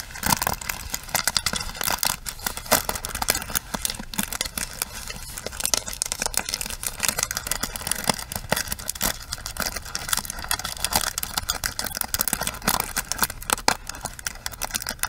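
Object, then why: Plastic paddle hairbrush with bristles. Long acrylic nails scratch and tap the ball-tipped bristles of a small pink plastic paddle hairbrush held in both hands. The result is a steady stream of dense, bright, crackly scratching broken by many quick, sharp clicks that stop dead with no ring.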